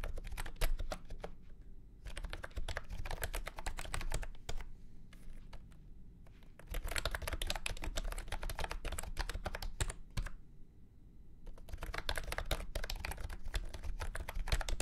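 Fingertips type on a full-size beige and orange plastic retro keyboard with round keycaps and a hollow body, resting on a felt mat. Bursts of rapid, clacky keystrokes with short, dry decays play over a low, boomy hollow resonance, separated by brief pauses.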